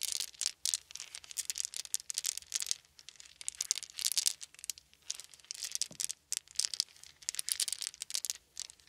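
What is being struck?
Small wooden beads.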